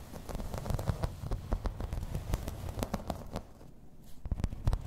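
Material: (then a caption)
Plastic. Long red nails tap and scratch across a grey embossed plastic placemat lying flat. Quick, dry clicks come in an irregular run over soft, low scraping, each tap dying away almost instantly.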